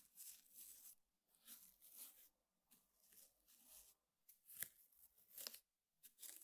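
A hand jabs and scratches the coiled weave of a flat, square woven rattan table mat with the tip of a small brush held vertically. The result is a series of dry, bright, hissy scratching bursts separated by brief silences, with a few sharp, crisp ticks mixed in. There is almost no low end.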